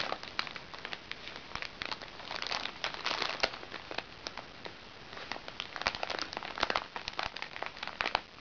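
Fingertips with long red nails scratch and press the surface of a small, flat zip makeup bag made of crinkly recycled plastic sachets with fabric trim, held on a lap. A steady stream of bright crinkling and crackling is heard, with sharp, short snaps that swell in places and almost no low end.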